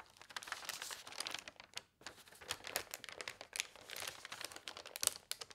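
A large newsprint newspaper lies spread open flat on a cloth-covered table while fingertips and long painted nails turn its pages and smooth them flat. Dense, bright crinkling rustles and rubbing fill the clip with almost no low end, broken by a brief silent pause near the two-second mark.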